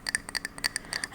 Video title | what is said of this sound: 【ASMR】yapping n' tapping on random stuff on my desk - soft spoken, tapping, and more... | It's a mug. It's a ceramic mug. One of many mugs actually.